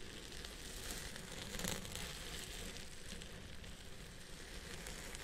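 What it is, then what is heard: Synthetic fiber wig being scratched. Fingertips and short nails scratch and rub through the fibers at the crown of a purple wavy synthetic wig held in place on a head form. The result is a steady, dense, crackling rustle with a sizzle-like bright hiss over a soft low rumble, briefly swelling a little louder partway through.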